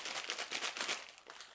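A package of dry pasta is shaken so its contents can be identified by sound. The pieces rattle and clatter in quick, bright bursts with no low end, fading slightly toward the end.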